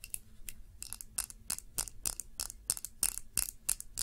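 A short glass tumbler filled with red candle wax is held in both hands and tapped with long nails. About eighteen quick, bright ticking taps land in an uneven rhythm. Each tap is dry and dies away almost at once, with no ringing tone.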